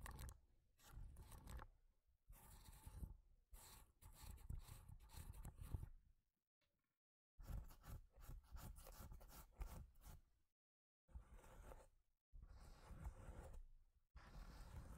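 Long nails and fingertips scratch and rub the ribbed top of a solid, long block of stacked corrugated cardboard. Bursts of dry, raspy scratching with a deep, muffled low end come in short spells, separated by brief silent pauses.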